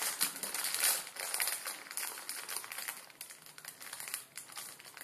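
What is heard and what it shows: Fingertips crinkle and press a full ramen noodle packet made of plastic film, flipped over on a wooden table. Dense, bright, crackly crinkling comes in irregular bursts with almost no low end, loudest near the start and gradually softening toward the end.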